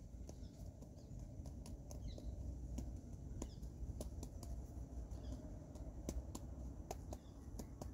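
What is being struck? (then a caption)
Whole avocado with bumpy peel. Fingertips and short nails tap and scratch across the rough, pebbly peel of a single whole, fist-sized, dark-green avocado held in both hands. Quiet, sharp dry clicks and light scratches ring out over a steady low rumble, with each tap dying away almost at once.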